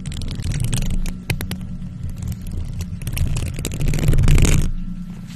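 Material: Metal mesh.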